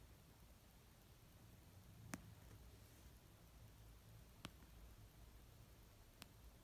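Three slow, sparse taps land on an orange paperback novel of solid paper resting on a fluffy blanket, tapped with nails and fingertips. Each tap is a short, dry click with a bright edge that dies away almost instantly. The taps sit against a quiet, low hum.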